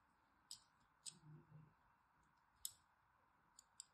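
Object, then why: Bar of soap scored with a thin blade. A thin blade scores lines into a solid orange-and-white striped bar of soap held in the hand. Five short, crisp, bright clicks stand apart against a quiet, steady hiss, with a soft low rustle between the second and third strokes. Each scrape stops almost instantly with no ring.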